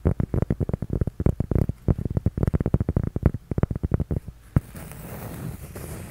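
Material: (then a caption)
Cork. A flat, solid, toast-shaped cork coaster held in both hands is tapped rapidly with fingertips and nails, giving a quick run of dull, low, deadened knocks with almost no ring. After one firmer tap, the sound shifts to a steady, soft scratching of nails across the cork surface.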